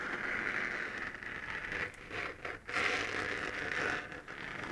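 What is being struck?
3D-printed plastic moon lamp.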